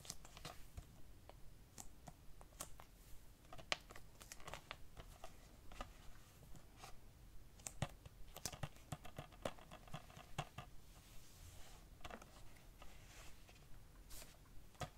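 A hollow plastic DVD keep case for the film "Blue Crush" is held in both hands and turned front and back while fingertips tap and trace its plastic sleeve surface. Quiet, irregular sharp taps and bright clicks mix with soft crinkly scratching over a low rumbling background, each tap dying away almost instantly.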